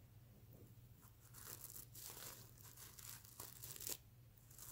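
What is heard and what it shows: Fingernails scratch across a soft stuffed mermaid unicorn plush pillow covered in reversible plastic sequins, flipping the sequins over. The result is a run of bright, crackly, tearing-like rasps that swell and fade over a steady low hum.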